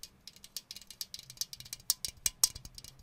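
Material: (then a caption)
Acrylic plastic. An empty clear acrylic grid organizer is held up and tapped and scratched with fingernails across its grid edges. About twenty quick, quiet, bright plastic clicks and ticks sound in an uneven rattling run, each dry and without any ring.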